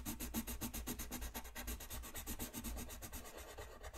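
A colored pencil tip rubs a thin white paper coloring sheet lying flat on a desk, in fast shading strokes. Each stroke is a quick, soft scratchy rasp with bright hiss and a low rumble underneath, repeating steadily for the whole clip.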